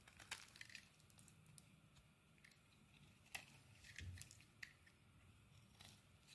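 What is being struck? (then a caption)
Soap bar carved with a metal blade. A metal blade carves crumbly shavings off a solid purple bar of soap. Soft, dry scraping and crackling is heard, with sharp, bright ticks and crunches scattered over a low, quiet rumble. Each crisp snap dies away almost instantly.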